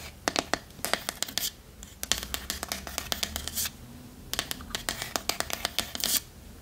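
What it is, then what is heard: Wooden chest tapped with fingernails. Long nails tap rapidly on the sides of a small, hollow, dark wooden treasure chest box with metal fittings, held sideways. The result is bursts of sharp, bright, dry clicks and light scratchy taps with almost no ring, separated by brief pauses.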